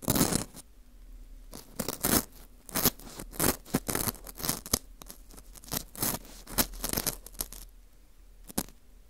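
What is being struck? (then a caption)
Dried wheat gluten ring (fu). A small porous dried wheat gluten ring (fu) with a hollowed center is held in a gloved hand close to the mic. Its inner hole is scraped and picked with a thin metal hook tool. The result is a rapid series of short, dry, crunchy scratches and crackles with bright, airy texture, irregular bursts separated by brief quiet gaps.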